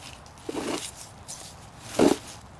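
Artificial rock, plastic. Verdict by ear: Fake.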